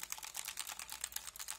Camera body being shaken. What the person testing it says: Słyszycie? Jak coś lata w środku?